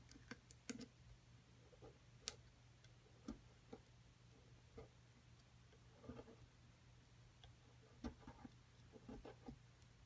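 A thin metal pick taps and scrapes into the crumbly surface of a solid plaster dig block held by a hand with long nails. Nine sharp, bright, dry ticks with almost no ring stand out over soft, gritty scraping, at a quiet level above a steady low hum.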